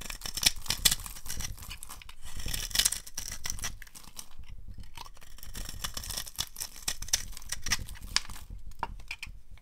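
A utility knife blade carves a solid, rectangular, translucent brown bar of dry soap into crumbly flakes. It makes dense, crisp scraping and crackling strokes with bright, sharp edges and a low rustle underneath. Flakes break off in quick bursts that cut off almost at once.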